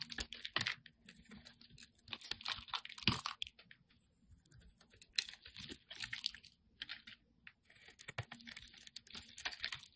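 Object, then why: Bar of soap scraped with a metal blade. A solid white soap bar with pink spots, held in the hand, is shaved into curls with a metal utility-knife blade. It makes quiet, bright, crisp scraping and crackling in irregular bursts of short strokes, with brief pauses between cuts.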